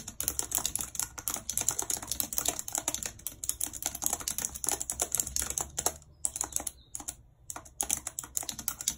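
Long red acrylic nails type rapidly on a white, low-profile plastic wireless keyboard with a full number pad and hollow housing, lying flat on a map-printed surface. It produces a dense stream of sharp, bright, clicky key taps with very short decay. There are brief pauses a little after six and seven seconds before the fast typing resumes.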